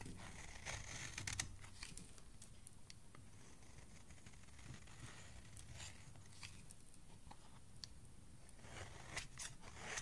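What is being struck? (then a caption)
Soap bar scraped with a metal blade. A hand with dark nails holds a solid purple-grey soap bar while a metal blade scrapes along its edge. Quiet, steady scraping carries bright, crackly bursts over a low, muffled rumble, with slightly louder scrapes near the start and end.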